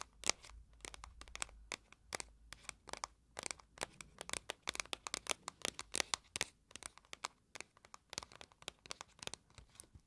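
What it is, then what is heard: Small cardboard box, scratched and tapped. Long nails scratch and tap the faces of a small, hollow, pink printed cardboard box of oil blotting papers. The result is quiet, bright, dry clicks and scratchy rasps, dozens of them in an uneven stream, each cut off almost instantly with no ring.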